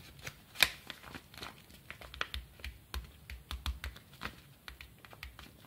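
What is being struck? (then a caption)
Kraft paper bubble mailer. Fingertips rub and scratch the surface of a small, empty-looking brown kraft paper bubble mailer (A-1, eco bubbles) lying flat. About 15 short, dry, crinkly scratches sound with bright papery texture and no ring, the loudest coming near the start.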